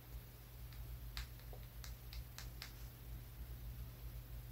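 A small, solid brown rock held in the fingers is tapped with the fingertips and nails. It gives faint, sharp, bright clicks at an uneven pace that die away almost instantly, over a steady low hum.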